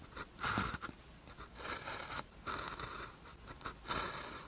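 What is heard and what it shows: A blue ballpoint pen tip scratches across a thin white paper practice sheet with a red grid lying flat, writing characters. Bursts of bright, dry scratching come in short strokes separated by brief pauses, with little low end.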